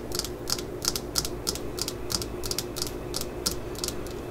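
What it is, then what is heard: Fiberglass hammer handle. Long fingernails tap along the solid yellow fiberglass handle of a claw hammer lying on a mat, its head held in one hand. A quick, uneven series of light, dry clicks sounds, each bright and short with almost no ring, over a steady low hum.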